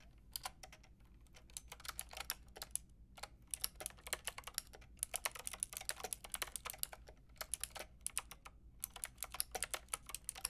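A white and pink Lofree mechanical keyboard with round plastic keycaps is typed on with long painted nails and fingertips. Quick runs of sharp, bright plastic taps and clacks die away almost instantly, separated by brief pauses over a faint low hum.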